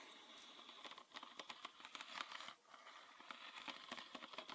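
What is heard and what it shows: Fingernails tap and scratch a green PET bottle full of liquid, working over both its body and its red plastic cap. The result is a quiet, rapid run of dry, crinkly clicks and scrapes with a bright, hissy edge and no low end. A denser scratching stretch swells just past the midpoint, breaks off briefly, then the light tapping resumes.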